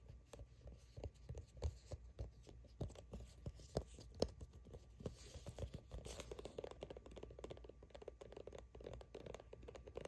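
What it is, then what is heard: Plastic squeeze tube. Long fingernails rapidly tap and scratch the front of a soft plastic sunscreen squeeze tube that appears filled. The result is quiet, dull, hollow clicks and scuffs with a light crinkly texture. Distinct taps in the first half give way to a denser, continuous flurry of scratching toward the end.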